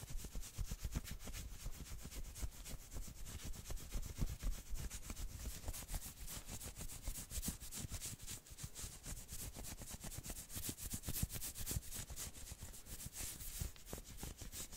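Long nails quickly scratch and rub the sleeve and upper arm of a worn, dark red patterned knit sweater. The result is a dense, fast, uneven run of scratchy, bright fabric rasps over a low, soft rumble.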